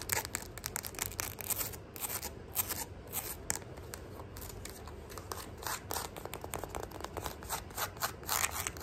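Long nails rapidly tap and scratch the round metal embellishments, chain trim and strap of a flat gold faux leather sandal held in the hand. The result is a dense, fast stream of bright, sharp clicks and scratchy rasps, with each tick dying away almost at once over a steady, quiet level.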